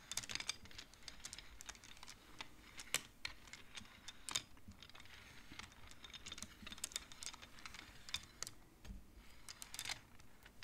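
Fingertips and nails push colored wooden beads along the metal rods of a large wooden-framed abacus, making them clack. The result is a quick, irregular run of sharp, bright clicks with almost no ring, very like rapid typing, over a quiet low background.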